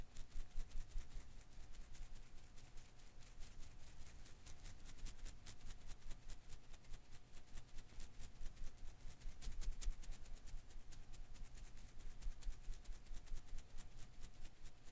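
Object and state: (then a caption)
Rubber Koosh ball being flicked. A thumb flicks and strums the thin rubber filaments of a single blue and green Koosh ball held in one hand. The result is a quiet, continuous, uneven patter of soft, short ticks and rustles over a low rumble, with a faint steady tone running underneath.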